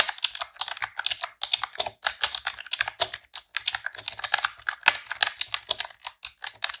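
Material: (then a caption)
Plastic. Long press-on nails and fingertips type rapidly on a pink retro-style plastic computer keyboard with round keycaps. The result is a steady stream of bright, crisp plastic clicks and clacks, each dying away almost instantly, with no low-end thump.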